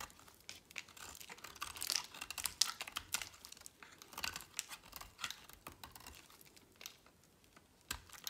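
A utility knife blade slices and scrapes through a small remaining piece of solid green dry bar soap. The result is a rapid series of crisp, dry, bright cutting and crunching sounds, close and quiet, with almost no low end and no ring after each stroke.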